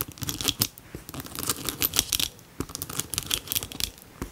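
Long nails tap and scratch the flap of a hollow, medium pink-red ombré faux leather flap bag with a white panel and gold chain. The result is a quick run of crisp, bright clicks and scratchy rasps, each short and dry with almost no ring, over a faint low rustle.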